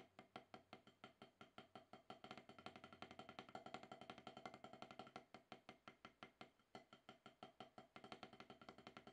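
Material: Rubber.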